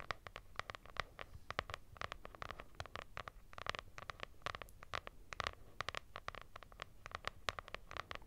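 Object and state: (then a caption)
Fabric-covered hardcover notebook. A lilac hardcover notebook with a textured fabric or linen cover and a solid paper block is held close and scratched with long nails. Dense, quick, dry scratches with bright edges and a faint low rumble run continuously for about eight seconds, each stroke dying away almost at once.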